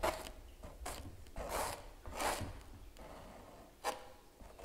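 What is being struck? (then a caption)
Stretched canvas print scraped with a metal palette knife. A small metal palette knife scrapes and scratches gel across the painted animal on a large stretched canvas giclee print lying flat. Short bursts of dry, bright rasping come and go, separated by quieter stretches of faint rubbing.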